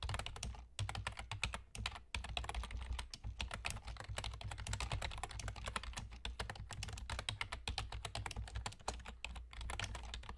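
Fingertips with short nails from both hands type rapidly on a full-size black plastic computer keyboard with German key labels and hollow keys. A dense, continuous stream of short, bright plastic clicks and taps plays over a steady low hum, with only a few brief pauses.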